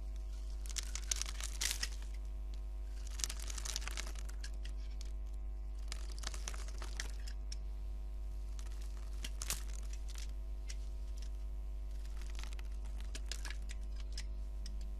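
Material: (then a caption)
Soap. A solid golden bar of soap with a grid-scored surface is held in hand and scraped with a metal utility blade. Bursts of dry, crisp crackling and crumbling scrapes come in clusters over a steady low hum.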